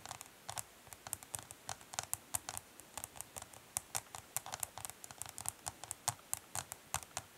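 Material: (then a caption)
Plastic. Long nails tap rapidly along the top edge and side of a hollow, dark smoky translucent plastic eyeshadow palette. About forty quick, dry, bright clicks sound in steady succession, each fading almost instantly at a soft, quiet level.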